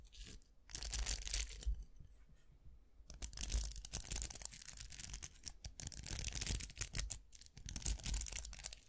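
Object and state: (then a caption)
Round metal-barrel hair brush with plastic bristles. Fingertips scratch and flick the plastic bristles of a round styling brush with a hollow vented metal barrel and a black handle. Bright, dry scratching and rapid crackling ticks come in dense bursts over a low rumble, with a quieter lull partway through before the scratching picks up again.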